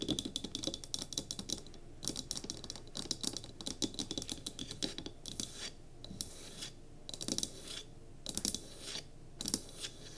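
A small solid pine cube candle holder with a tealight, resting on a table, is tapped and scratched on its sides by long nails. Fast bursts of dry, bright clicks and scratchy rasps come in clusters separated by short pauses, with almost no ring after each tap.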